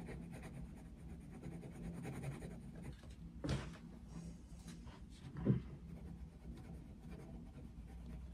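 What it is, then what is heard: Paper colouring book being coloured with pencil. A dark wooden coloured pencil held in the fingers colours a picture of Mickey Mouse in an open paper colouring book lying flat on a desk. Soft, low scratching and rubbing strokes run steadily across the paper, with two louder, sharper strokes standing out partway through.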